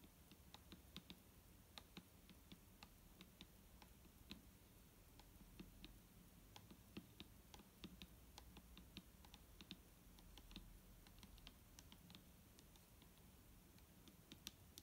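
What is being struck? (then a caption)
Plastic bottle of liquid. A single long nail taps slowly and steadily on the body of a large, clear plastic micellar water bottle that is full of liquid and lying flat. The taps are quiet, short, dry clicks with a bright tone around 3.6 kHz, and each dies away almost at once. They fall in a steady stream over a low, constant background hum.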